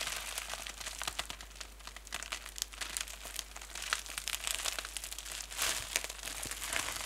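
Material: Plastic.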